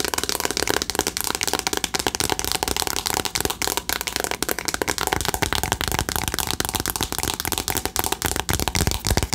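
A flat rectangular cardboard "Remember Me" eyeshadow palette, held in both hands, is tapped quickly with long acrylic nails. The result is a steady, dense stream of sharp, dry clicks and taps with a bright, papery edge and almost no ring.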